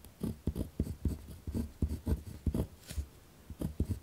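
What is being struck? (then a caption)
Ballpoint pen on a paper notebook sheet over a wooden desk. A ballpoint pen is pressed hard against a single torn-out spiral notebook page lying flat on a wooden desk, held down by the left hand. It makes rough, low scratching strokes, with about a dozen short, dry bursts of writing and almost no ring.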